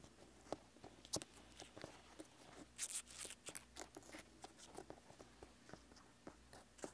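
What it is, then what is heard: Whole pineapple rind, scratched and tapped. Fingertips and nails of a right hand scratch and tap the textured rind on the lower left side of a whole, solid pineapple. The result is a quiet, uneven string of short, dry taps and crackly scrapes with bright, crisp edges. Each hit dies away almost instantly.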